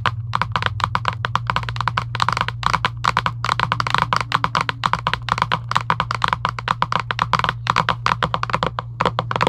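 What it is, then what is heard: Cardboard game box. Long acrylic nails rapidly tap and scratch a hollow Giant UNO cardboard box lying flat. The result is a dense stream of short, dry, hollow clicks with a mid-pitched resonance and some brighter scratching. A steady low hum runs underneath.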